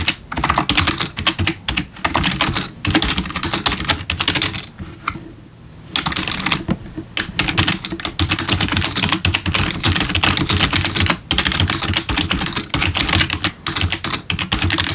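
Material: Plastic.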